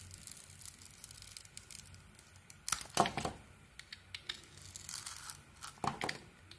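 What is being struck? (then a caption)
Soap bar shaved with a metal knife. A metal knife blade carves a solid pink-coated white bar of soap, shaving it into strips. Quiet, dry scraping and crisp crackling strokes come in irregular bursts with bright, high-pitched texture, and louder cuts land around the third second and again near the sixth.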